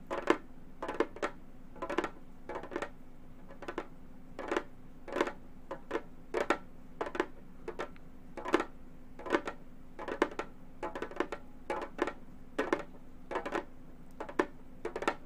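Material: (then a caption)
Synthetic membrane. Long gold metal finger claws tap their tips on the synthetic head of a hollow, round Remo frame drum. Quick, irregular clusters of short, dry taps with a mid-low tone and bright clicky edges die away almost instantly. A faint steady low hum sits underneath.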